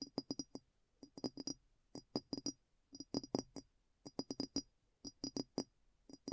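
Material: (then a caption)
Glass. Light taps on a glass bowl clink in quick bursts of about five, repeating roughly once a second. Each tap is short and dry, with a soft low body near 270 Hz and a thin, high, glassy ring that dies away almost at once. The room is otherwise quiet.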